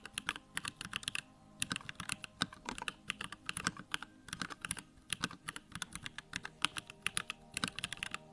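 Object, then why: Plastic mechanical keyboard. A small 65% mechanical keyboard, a Bakeneko65 with a plastic case, white plastic keycaps, lit backlight and Durock lavender switches, is typed on rapidly with fingertips. Dense runs of short, bright, clacky keystrokes come in bursts with brief pauses between them, and each click dies almost instantly.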